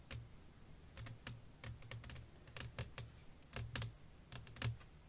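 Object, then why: Flat glass pane. Long nails tap a flat, clear glass sheet lying over lace fabric, making 17 sharp, bright clicks in an irregular rhythm, some in quick clusters. Each tap ends almost at once, over a faint low hum.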